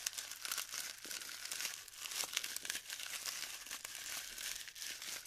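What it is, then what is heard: Glued styrofoam bead clusters being crumbled. Hands rub and crumble clumps of glued styrofoam bead clusters in a tray. A dense, continuous stream of bright crinkling and crackling is heard, with quick sharp snaps and no low end.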